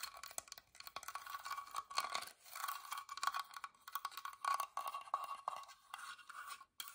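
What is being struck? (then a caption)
Small carved wooden box. Long nails scratch the carved lid of a small, hollow, whitewashed wooden box as it is turned in the hand, then move on to its plain wooden sides. The result is a steady run of dry, bright scratching and scraping strokes with a faint hollow tone ringing through them.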